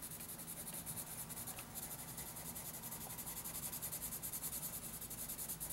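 A graphite pencil, held close to the tip, makes dense rubbing and shading strokes on a lined paper notebook page. The result is a steady, soft, scratchy rasp with a bright, hissy edge that pulses in quick, even rhythmic strokes over a faint low rumble.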